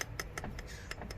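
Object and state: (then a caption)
Hollow crank arm with a loose object rattling inside. A snapped Shimano Dura-Ace or Ultegra aluminium Hollowtech bicycle crank arm is tapped or shaken so something loose inside the hollow arm rattles. Six short, bright clicks are heard over a low background rumble. The rattle reveals a loose object inside the hollow arm.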